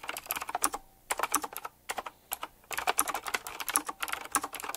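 Fingertips type rapidly on a black retro typewriter-style mechanical keyboard with round plastic keycaps set in chrome metal rims. Bursts of fast, crisp clicky keystrokes are heard, each a short sharp tick with a bright top. Brief pauses fall between the runs.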